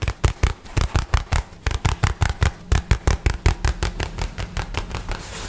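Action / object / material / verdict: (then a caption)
tap / rolled-up nylon bag / nylon / none. A light blue nylon bag, rolled into a tube and held upright, is scratched and tapped with fingernails in a fast, uneven run of about two dozen short, dull thumps, each with a brief crinkly crackle. The taps blur into a softer, continuous scratching rustle toward the end.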